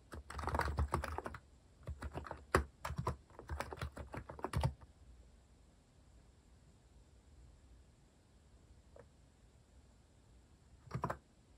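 A compact white-cased plastic mechanical keyboard with plastic cat-themed keycaps is typed on with fingertips. Bursts of quick, dull keystrokes with a low thump run for about five seconds, then fall silent apart from a faint tap, before a short final burst near the end.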